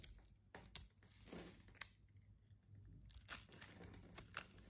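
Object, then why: Soap bar scraped with a metal blade. A solid brown soap bar held in the hand is scraped with a metal utility-knife blade, and crumbly cubes break off. The sound is a quiet, dry, bright scraping and crunching with sharp crackly ticks and short crumbling bursts.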